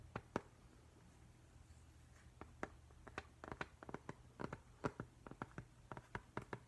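Fingertips and nails tap and lightly scratch across the flat glass front of a framed octopus print. Quiet, sharp clicks arrive sparsely at first, then in quicker clusters, each dying away almost instantly. A faint steady low hum sits underneath.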